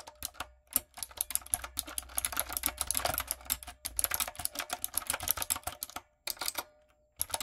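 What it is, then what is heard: Plastic mechanical keyboard. Fingertips and long acrylic nails type on a light-up, typewriter-style mechanical keyboard with round plastic keycaps. Rapid runs of bright, sharp clicky keystrokes die away almost instantly and have little low end. The typing pauses briefly near the four-second mark and again toward the end before resuming.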